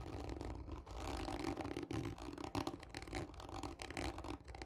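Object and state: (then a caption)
Cardboard tube being scratched. Long nails scratch hard and slowly across the surface of a hollow, textured cardboard tube lying on its side. The result is a continuous, gritty scraping with a hollow, boxy resonance around 270 Hz and a low rumble, rising and falling in rough strokes throughout.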